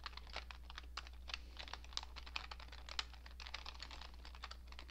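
A cream-coloured plastic computer keyboard with hollow keycaps is typed on steadily with fingertips and long nails, producing continuous, quick, irregular key taps. The clicks are short, bright and dry, layered over a steady low hum.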